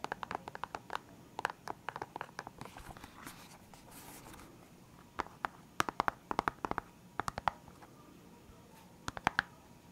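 Fingertips and nails tap and scratch the lid of a full, clear hard plastic box of felt-tip pens. Bursts of sharp, dry clicks ring briefly with a bright edge. In the middle, a stretch of softer scratching rustles against a quiet background before the tapping returns.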